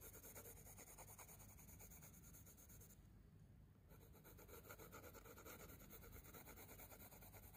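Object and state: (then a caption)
Pencil rubbing on a sketchbook page. A wooden coloured pencil tip rubs and scratches across a paper sketchbook page in continuous colouring strokes, giving a steady, dry, gritty scratching texture with bright hiss. Around the middle of the clip the strokes briefly lighten and the high hiss drops away before the vigorous scratching resumes.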